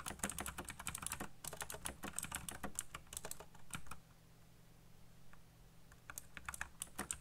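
Fingertips type fast on a backlit plastic mechanical keyboard with black plastic keycaps. Rapid, bright key clacks come in dense bursts, pause briefly in the middle, then resume, over a low steady hum.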